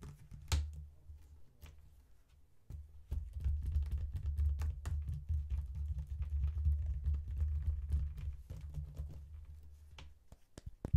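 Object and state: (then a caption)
Faux leather wallet phone case. Both hands tap and scratch with long nails and fingertips on the surface of a closed faux leather wallet phone case with a strap clasp, lying on a table. Fast, irregular taps and scratchy rubs produce short, dry clicks over a steady low hum. The clip is sparse for the first few seconds, then grows denser and louder before thinning out near the end.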